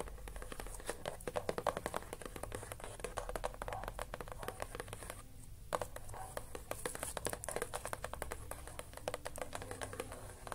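Fingertips and short nails tap and scratch across the lid of a closed, flat rectangular cardboard box with a colourful building print, lying on a crocheted blanket; the box looks hollow but its contents are unseen. Dense, quick, dry taps and scratchy strokes run throughout, with a brief quieter pause just past the midpoint, over a low steady hum.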